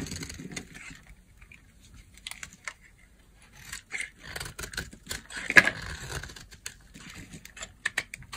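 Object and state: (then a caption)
Dry bar soap being carved. A solid green bar of dry soap is held in the hand and carved with a utility knife blade, scraping and cutting strips off into shavings. Short, dry, bright scraping and slicing bursts come in irregular clusters, with quiet gaps between strokes and no ringing after each cut.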